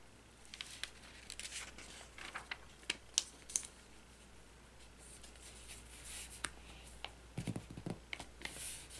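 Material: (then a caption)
Glossy paper. Fingertips and nails rub and slide over the page surface near the binding of an open glossy paper magazine, with some page handling and crinkling, the same magazine throughout. Quiet, bright, papery swishes and scratches are broken by short, crisp ticks and crinkles over a faint steady low hum.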